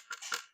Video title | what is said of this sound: rolls royce silver cloud wood restoration | you can hear that tapping noise and that's because this is all snapped in half